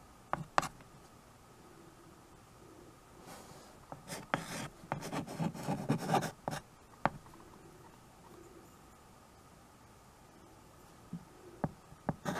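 A white chalk stick is held in the fingers and written across a small handheld chalkboard with a wooden frame and a flat black surface. Sharp taps and short scratchy strokes are separated by quiet gaps. A denser stretch of rubbing and scratching runs through the middle, and a few more quick taps follow near the end.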